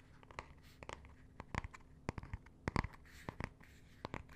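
Fingernails tap and scratch the leather-look cardboard cover, with its emblem, of a closed, solid, medium-sized hardcover art book held in the hand. The result is a quiet, irregular series of short, dry clicks and brief scrapes that die away almost at once, over a faint steady low hum.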